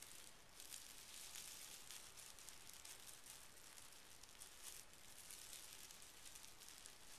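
The fingertips of one hand press and rub a small, thick, folded pink tissue paper packet resting on carpet. It makes a quiet, steady, bright crinkling hiss with small swells as the paper shifts under the fingers.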